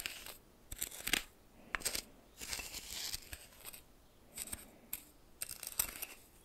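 A red plastic spoon stirs and scrapes white coarse salt crystals in a small glass bowl held in one hand. Short bursts of bright, gritty crunching and scratching come and go, separated by brief quiet gaps.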